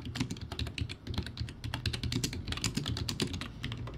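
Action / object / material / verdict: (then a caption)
tap / plastic keyboard with round keycaps / plastic / none. A backlit plastic typewriter-style keyboard with round white plastic keycaps is typed on quickly with the fingertips of both hands. A dense, steady stream of short, bright clicks rides over a low, hollow clatter, with no pauses.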